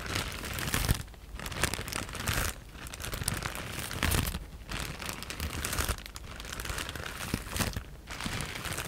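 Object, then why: Plastic bag of foam cushioning pieces. A clear plastic E-PACK bag full of white foam cushioning pieces, held in both hands, is scratched and tapped with long nails. Dense, bright crinkling and crunchy rustling come in continuous bursts, broken by several brief quieter gaps. Soft low thumps sit beneath the crackle.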